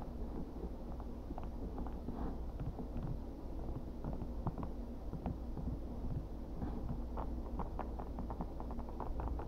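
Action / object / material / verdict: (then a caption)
tap / rigid thermoplastic knife sheath / hard plastic / none. Gloved fingertips tap and scratch the textured surface of a flat, dark-grey, rigid Kydex-style thermoplastic knife sheath, about 20–25 cm long, with eyelet holes and slots. Short, dull clicks and scratchy ticks sit over a steady low, muffled rumble, with almost nothing bright in the sound.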